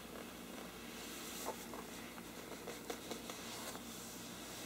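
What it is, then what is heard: Parchment paper lampshade. Fingertips and nails of both hands scratch and rub the sides of a large, hollow, thin-walled bell-shaped lampshade with a mottled parchment-like paper surface. A quiet, steady, dry scratching rustle fills the clip, broken by a few faint, brief ticks.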